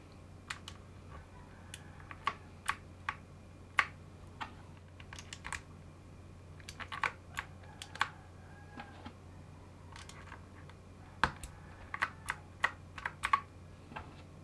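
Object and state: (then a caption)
Mechanical keyboard with plastic keycaps. A gloved hand types and taps on a full-size gaming mechanical keyboard on a metal plate, partly fitted with new plastic keycaps and with some switches exposed. Sharp, bright clacks come in irregular bursts, each dying away almost at once, over a faint steady low hum.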